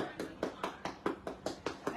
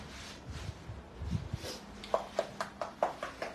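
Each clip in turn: First: Nine quick, dull knocks around 330 Hz on a durian husk, each dying almost at once: a ripe fruit. Second: About seven quick, firm knocks with a mid pitch and no ring: a durian that is not yet ripe.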